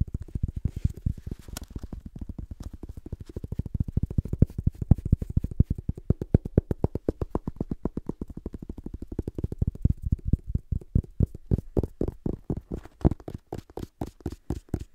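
A small black paperback book with a paper cover and pages is held close to the mic and tapped and scratched with fingertips and short nails on its cover and spine. A fast, steady stream of soft, dull, low taps with almost no ring continues throughout. After about ten seconds the taps become more spaced and distinct, each with a slightly brighter click.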